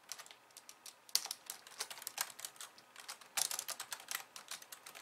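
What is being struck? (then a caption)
Plastic computer keyboard. Long-nailed fingers type with both hands on a slim pink plastic keyboard with white keys. About 27 quick, bright, crisp clicks come in an uneven patter, with almost no low end and a very short ring. Sharper clacks stand out near 1.1 and 3.4 seconds.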